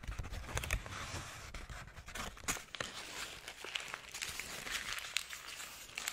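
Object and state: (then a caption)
Crumpled paper sheet. A sheet of wrinkled white paper is crumpled between the fingers, held up close to the microphone. Dense, bright crinkling and crackling runs throughout, with sharp snaps standing out over a soft low rumble.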